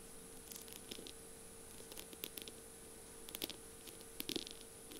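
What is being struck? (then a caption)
Pen barrel covered in beads and mirror tiles. Long purple nails rapidly tap and scratch the slim barrel of a feather pen decorated with beads and mirror tiles. The result is quiet, crisp, bright clicks and scrapes, scattered in irregular bursts. A faint steady high whine and a low hum sit underneath.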